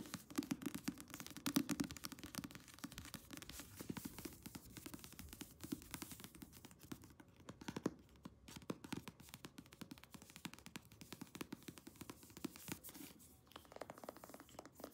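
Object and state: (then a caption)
Paperback book. Long nails rapidly tap and scratch the card cover and paper page edges of a thick paperback novel. The result is a quiet, dense stream of dry, short taps with a soft low-mid thump, mixed with papery, bright scratching that continues throughout.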